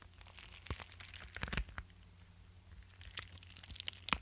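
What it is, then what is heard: Padded paper mailer envelope. A flat, likely empty yellow kraft-paper bubble mailer, about A5 size, is held in one hand while fingertips and nails scratch and rub across its paper surface. The result is quiet, bright, crinkly scratching in short bursts, louder near the middle and end, over a faint steady low hum.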